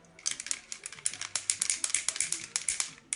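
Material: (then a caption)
Metal. An aerosol spray foundation can is shaken hard, and the mixing ball inside rattles in a fast run of sharp, bright clicks. The ball is there to mix the foundation before use.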